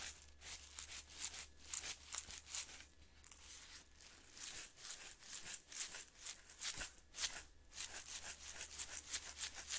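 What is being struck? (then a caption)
Glass jar of instant coffee granules with plastic lid. A glass Maxwell House instant coffee jar, about half full of coffee granules and closed with a blue plastic screw lid, is held in one hand and tilted and shaken so the contents move. The granules make quiet, bright, hissing rustles that come in repeated short sweeps and settle between them, over a faint steady low hum.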